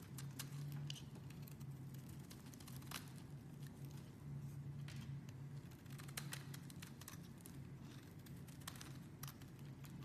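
A metal blade scrapes fine shavings off a pale green, solid oval bar of soap held in the hand. The result is a quiet, steady scraping texture over a low, constant hum, with scattered bright ticks and crackles throughout.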